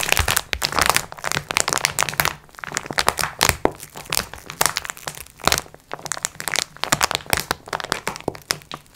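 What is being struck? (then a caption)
Multipack of sponge cloths in plastic film. Long nails scratch and tap the plastic film near the edges of a plastic-wrapped multipack of sponge cloths resting on a table. The result is a dense, bright stream of crinkling crackles and quick, dry taps with almost no ring, rising and falling in short bursts with brief quieter gaps.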